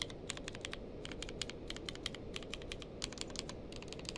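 A grey-blue tenkeyless mechanical keyboard with plastic keycaps is typed on with fingertips, some single keys pressed on their own. The result is a steady run of short, bright, clicky keystrokes with almost no ring, sitting over a soft low rumble.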